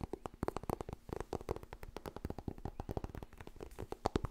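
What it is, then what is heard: Paperback book. Fingernails tap rapidly on the cover and edges of a white softcover *Getting Things Done* paperback book. The result is a fast, uneven stream of short, dull, low-toned taps with almost no ring and no brightness.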